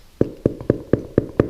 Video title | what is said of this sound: Artisanal Sourdough Bread | when you tap it on the bottom, it should sound hollow